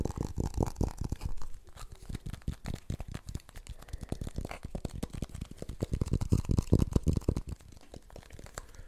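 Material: Plastic.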